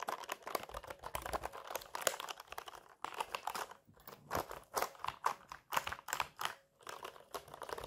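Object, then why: Plastic mechanical keyboard. A full-size black mechanical keyboard with plastic keycaps and hollow key switches, resting on a lap, is typed on rapidly by fingertips with longish natural nails. Bright, clacky key-press taps come in dense bursts with brief pauses between them, each tap short and dry.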